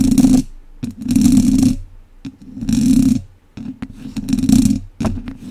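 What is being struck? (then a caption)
Metal wire-mesh microphone grille. Two wooden chopsticks scratch an uncovered, hollow domed wire-mesh microphone grille from both sides. Four long, loud raspy bursts with a low humming buzz are heard, separated by quieter gaps with short ticks and taps.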